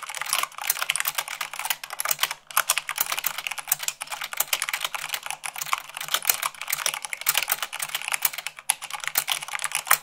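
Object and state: Mechanical keyboard typing.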